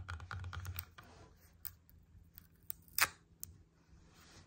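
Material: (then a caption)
Apple. A whole red apple, a solid fruit, is held and tapped and scratched with long painted nails on a table. A quick cluster of soft, thumpy taps with bright clicky edges fills the first second, followed by sparse sharp nail clicks and faint scratching. The loudest crisp click comes near the three-second mark, and each sound dies away almost instantly.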